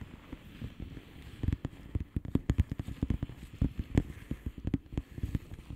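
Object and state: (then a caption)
Plastic bubble wrap mailer. Long painted nails on both hands tap and scratch across a blue plastic bubble wrap mailer lying flat. A quick, irregular run of soft, dull taps mixed with light crackly scratching sits mostly in the low range, each tap dying away almost instantly.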